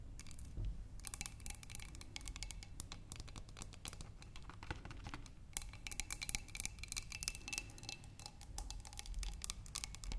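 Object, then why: Glass flower vase partly filled with water. Long manicured nails tap and scratch the sides of a tall, clear glass vase partly filled with water and holding red tulips. The sound is a quiet, steady stream of rapid, dry clicks with brief, bright glassy pings and soft scraping over a low background rumble.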